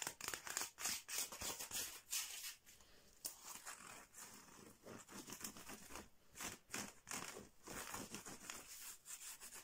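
Fingernails scratch and rub quickly along the slats of a flat bamboo or wood slat mat with a red border, with a cloth lying beside it. Bright, dry scraping and rasping come in rapid, uneven bursts with very little low end. The strokes are louder and more separated at first, then settle into a softer, steadier stretch of scratching.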